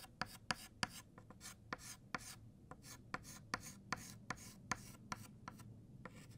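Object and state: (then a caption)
Chalk writing on a chalkboard. White chalk writes on a flat black chalkboard, thickening the letters of "Happy" and "New." Fourteen quick, sharp taps and strokes stand out from a quiet, continuous scratchy rasp. Each one is bright and dry with almost no ring.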